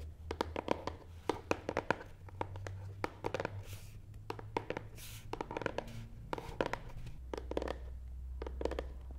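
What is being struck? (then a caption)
Cardboard box. Fingernail tips scratch and tap the front side of a long, hollow, black matte cardboard box resting on a table. A quick, irregular series of dry, hollow clicks and taps stops short with almost no ring, mixed with soft scratchy brushing, all over a faint low hum.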